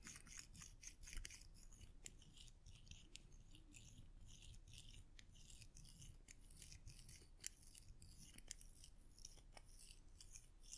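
Solid silver metal coins are held in the fingertips and rubbed together, giving quiet, bright clinks and scraping over a steady low hum. The sharp metallic ticks stay high and very short, recurring irregularly throughout with a few louder clinks.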